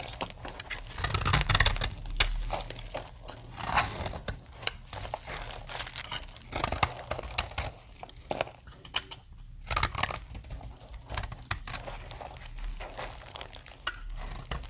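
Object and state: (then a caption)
Dry soap bar being scraped. A utility knife blade scrapes flakes from the edge of a solid green dry soap bar, making dry, crisp scraping and crumbly crackling strokes with bright, high texture and a low thud beneath. The strokes come in uneven bursts with short pauses, and the bar ends up smoothed at the end.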